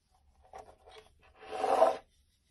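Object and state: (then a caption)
Bar soap being shaved with a blade. A utility knife blade scrapes and shaves thin curls off the surface of a solid rectangular yellow bar of soap held in the palm. A few faint, short scratchy strokes lead into one louder, sustained rasping shave with a mid-range focus, which then stops cleanly.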